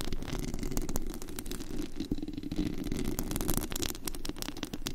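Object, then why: Perforated metal mesh microphone grille. Long acrylic nails on both hands scratch across the bare perforated metal mesh grille over the hollow head of a large studio USB microphone, picked up directly at high gain. The result is a steady, dense rasping with rapid clicky scrapes and a heavy, boomy low rumble underneath, with only faint bright edges.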